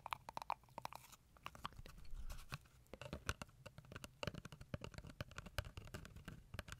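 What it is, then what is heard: Cardboard paper tube. Long acrylic nails scratch and tap a small hollow brown cardboard tube, toilet-roll style, held in front of a microphone. The result is a quiet, dense run of short, dry crunchy taps and scratchy rasps with a hollow resonance around 960 Hz and a low rumble underneath. Each tap dies away almost instantly.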